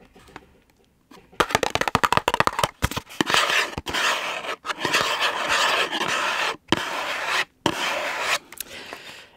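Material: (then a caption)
Cardboard. Fingertips and nails rub and scratch close up on a small gable-top printed cardboard M&S chick chocolate box with a clear plastic window, hollow with a chocolate inside. A run of quick, dry scratches gives way to longer, steady bright rubbing strokes separated by short silences, with almost no low end and no ring.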